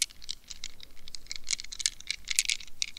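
Long red nails quickly tap and scratch the plastic net wrapped around a rubber mesh squishy stress ball. The result is a rapid run of bright, crisp clicks and scratchy rasps that stop short with no ring, over a faint low hum.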